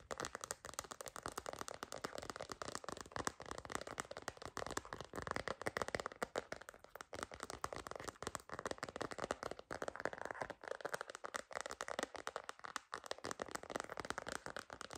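A cream plastic phone case decorated with stickers, held in both hands, is tapped rapidly with long nails. The result is a dense, continuous stream of short, dry plastic clicks and taps, centered in the midrange with little low end and almost no ring.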